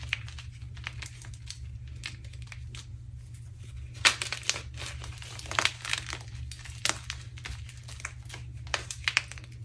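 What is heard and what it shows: A hard, solid, off-white coffee-dyed gym chalk block (magnesium carbonate) is squeezed and crumbled between the fingertips of both hands over a pile of chalk crumbles on a dark surface. It makes a continuous run of dry, bright crunches and crinkly crackles, with sharper louder snaps around the middle, over a steady low hum.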